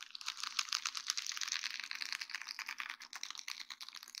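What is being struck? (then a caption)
Sheet of small acrylic rhinestones on plastic mesh. Long dark-painted fingernails of both hands rapidly tap and scratch a flat sheet of small faceted acrylic rhinestones set in rows on a grey plastic mesh backing, lying on a wooden board. The result is a dense, quick stream of bright, crisp clicks and ticks with almost no low end and very short decay.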